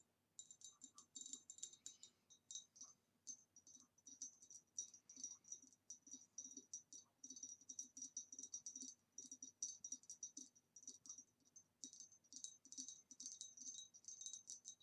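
An upright, hollow, empty green ribbed glass vase is tapped with long nails on its rim and neck. The result is a steady stream of quick, bright, glassy clicks, each with a short high ring. Beneath them sits a faint low thump.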